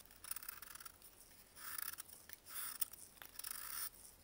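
A solid block of dried baking soda, held in a gloved hand, is rasped and scraped along its edge with a metal blade. Quiet, bright, gritty scraping comes in several longer strokes with short crisp ticks between them, with almost no low end.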